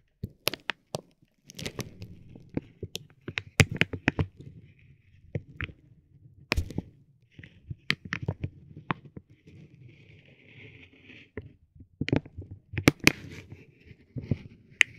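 A metal ball-tipped stick taps and drags across a soft, clear vinyl plastic bag wrapped around a roll of tape. It makes sharp, bright crinkles and clicks with short scratchy drags between them. The taps are quick and dry, with almost no ring after each one.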